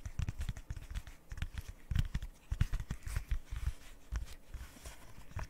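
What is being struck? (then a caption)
Silicone pop-it fidget toy. Long nails tap and scratch across a rainbow square silicone pop-it fidget toy. A quick, uneven run of soft, dull thuds comes with faint bright scratchy clicks, each dying away almost at once with no ring.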